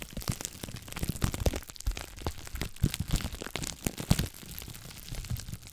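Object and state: Plastic bubble wrap.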